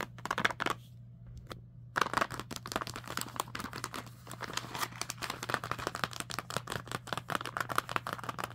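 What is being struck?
Plastic snack bag of dried fruit and nuts.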